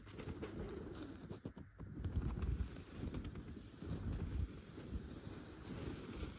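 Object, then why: Stuffed chenille fabric pillow. Long gold metal claw nail covers scratch a soft, stuffed yellow pillow cover with tufted chenille dots. The result is a continuous, muffled, low rumbling scrape that swells and dips in uneven strokes, with almost no bright content.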